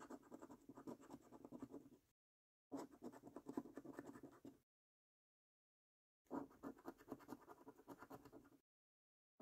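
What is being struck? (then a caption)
Paper scratch card with latex coating. A coin edge scratches the latex-coated circles on a paper £25 5x £1 Million Prize Portal National Lottery scratch card. Three bursts of rapid, gritty rasping scrapes are separated by short silences, and a fourth begins at the very end. The scraping centers on a low-mid tone with a faint bright hiss above.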